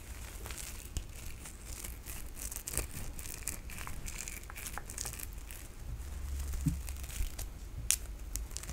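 A soft, hollow pink nylon mesh bath loofah with a white cord is held in both hands and scratched and rubbed with long nails. It makes a steady, crinkly, scratchy rustle with many quick bright crackles and clicks over a low, soft rumble. The texture stays quiet and dense throughout, swelling slightly toward the end.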